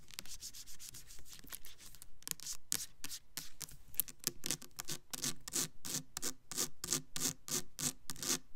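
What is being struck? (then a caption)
Plastic soap bottle. Long nails rub and scratch the label and sides of a clear plastic Black Cherry Merlot foaming hand soap bottle full of pink liquid. The result is a quick, uneven run of short, bright scratching strokes with a dry hiss.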